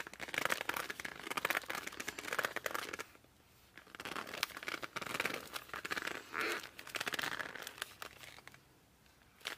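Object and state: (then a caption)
Laminated cardboard board book. Hands squeeze and rub the glossy cover and edges of a laminated cardboard board book, first tilted and then laid flat. Dense, bright squeaky and crinkling friction comes in bursts, with quieter stretches around the third second and near the end.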